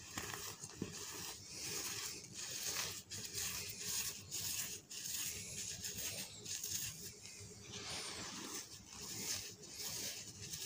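Bare hands scoop, squeeze and rub a large loose heap of dry pink-dyed cement or chalk powder on a green surface, with white powder at its edge and dust clouds rising. The result is a steady, bright, crunchy rustling and scraping that is mostly high in pitch, with little low end and brief dips between handfuls.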